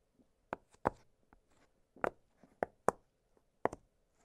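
Fingertips press the bubbles of an octagonal blue silicone push-pop fidget toy, making seven short, soft pops spread unevenly across a few seconds. Each pop is a quick, dry snap that dies away almost at once, with faint rustling touches between them.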